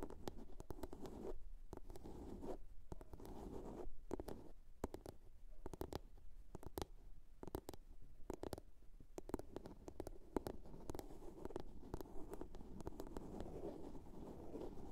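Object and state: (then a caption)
Plastic box. Long nails scratch and tap the lid of a small, hollow blue plastic box. A steady, soft, low-toned scratching runs throughout, broken by many quick, sharp taps that click and die away almost instantly. The overall sound is quiet and close.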